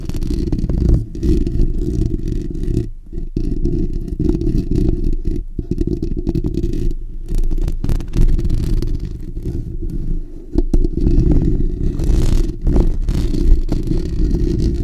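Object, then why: Steel wire-mesh microphone grille. Fingertips and short natural nails of both hands scratch the bare steel wire-mesh hollow dome grille of a black desktop condenser microphone. The result is a dense, continuous scraping rumble, heavy and boomy around 70 Hz with almost nothing in the highs, and brief dips where the scratching pauses.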